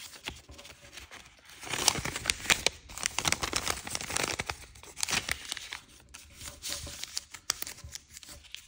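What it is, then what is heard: Sheet of thin paper being folded. A single thin square sheet of patterned chiyogami origami paper, printed blue and green with a pink back, lies on a light wooden table as fingertips fold it and rub along the creases. Dense, bright crinkling and crisp rustling fill the clip, swelling louder in the middle before easing back to softer rubbing.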